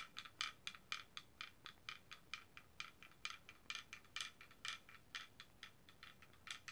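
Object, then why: Wooden pecking chickens toy. A small wooden pecking chickens toy, carved wooden chickens on a paddle with strings and a weight, is held by hand and swung so the solid wooden heads peck and clack on the board. About 29 short, dry, bright clacks come in an uneven patter, each with a woody tone near 2.4 kHz that dies away almost at once. Little low end sits under the quiet, quick pecking.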